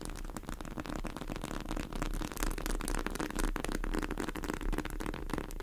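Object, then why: Polyurethane foam squishy cake toy. Long acrylic nails on both hands tap and scratch fast on a pink polyurethane foam squishy cake sitting in a tray. The result is a dense, continuous stream of soft, crackly clicks and scrapes over a steady low hum.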